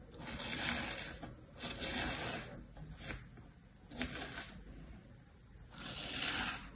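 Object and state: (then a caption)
Kinetic sand scraped with a pointed tool. A thin pointed tool scratches and cuts outlines into the surface of flattened tan kinetic sand, imprinted with shapes, in a plastic tray. The result is soft, gritty, bright scraping that swells and fades in several separate passes, with a few sharper ticks between strokes.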